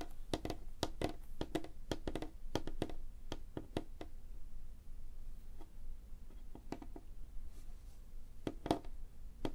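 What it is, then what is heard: Solid wooden tabletop. Both hands tap rapidly with fingertips and short nails on a solid, light-colored flat wooden tabletop. Quick bursts of short, dry, clicky taps die away almost instantly, and there is a sparser stretch in the middle before the tapping picks up again. Everything sits over a faint low background hum.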